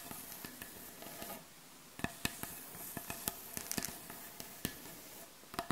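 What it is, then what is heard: Wooden butcher block board. Long acrylic nail tips scratch and tap on the surface of a solid, light-colored wooden butcher block board. Soft, dry scratching comes first, followed by sharp, bright taps with very short ring, some in quick clusters, over a quiet background.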